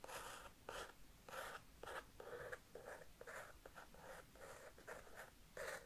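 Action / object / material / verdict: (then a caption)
scrape / paper sketchbook page / paper / none. A thin wooden stick traces and lightly scratches across a page of an upright, spiral-bound paper sketchbook that shows a pencil drawing of a knight. The result is a quiet, irregular series of short, dry, papery scraping strokes with a soft, bright hiss, separated by brief pauses.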